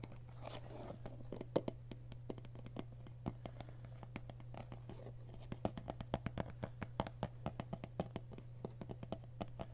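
Fingertips and nails scratch the label side of a hollow white plastic school glue bottle with an orange cap, its fill not visible, while the bottle is turned in the hands. The result is quiet, dense, dry scratching with many short, sharp ticks, over a steady low hum.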